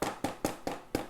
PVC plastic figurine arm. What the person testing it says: 腕を叩いたりできます。樹脂ではないので壊れません